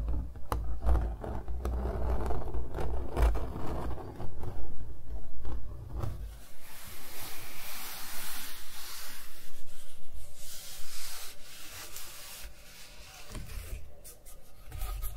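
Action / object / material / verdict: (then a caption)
scrape / acrylic-painted stretched canvas / canvas / none. Fingertips and nails rub and scratch across a small stretched canvas on a wooden frame, held in hand and covered in thick, textured multicolor acrylic paint. For the first six seconds the rubbing comes with a heavy, low thumping rumble and short crackling scratches. It then turns into lighter, bright, hissy scraping strokes that fade near the end.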